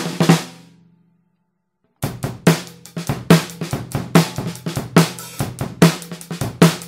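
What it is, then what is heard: Brass-shell snare drum. A Pearl Reference 14x6.5 in snare drum, with a hollow 3 mm brass shell and a coated plastic head, is struck with wooden drumsticks. A couple of opening strokes ring out with a low tone and fade into a second of silence. A dense run of tapping and rolls then follows, each crack carrying a short ringing body.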